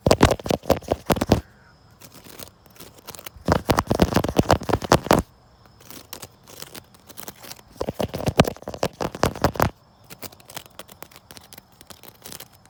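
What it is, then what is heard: Wicker chair. A wicker chair is scratched and then tapped outdoors, building up from quieter scratching into dense, rapid bursts of dry clicking taps. Three loud tapping bursts alternate with softer, scattered scratches. Each short tick dies away almost at once, and a faint steady high tone sits in the background.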